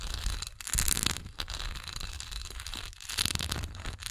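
Long nails scratch the raised swirl texture and the flat bottom of a solid wax pillar candle tilted on its side. A dense, crackly scratching with a bright, hissy edge and a low rumbling underneath comes in uneven bursts broken by brief pauses.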